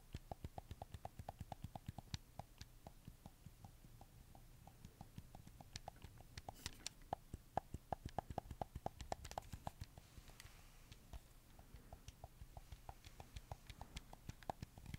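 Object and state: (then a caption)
Plastic game controller buttons tapped. A red camo PS4 controller made of hollow plastic is held in one hand while fingertips tap and click its buttons. A steady run of 57 quick, dry clicks follows, each with a short ring around 770 Hz and a dull low thump, fading almost instantly against a quiet background.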